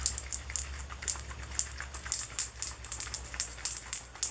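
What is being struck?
Plastic bottle of oil with a small metal mixing ball.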